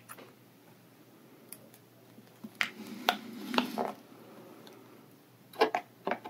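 Bare fingertips pinch and rub the loose edge of a clear, thin plastic bag full of kinetic sand lying on a table. Short, bright crinkles and crackles come in scattered bursts, with a soft rustling stretch in the middle. A quiet, steady low hum sits underneath.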